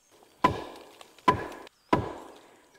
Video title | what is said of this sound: [FULL] Majalah 3 (2023) - 13 Nov - Legasi Keluarga Nyiur | kita ambil kayu yang berat macam ni ataupun parang, kita ketuk saja. Dia akan menghasilkan bunyi seperti ni.